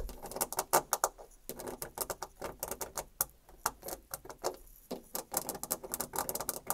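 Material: Painted wood.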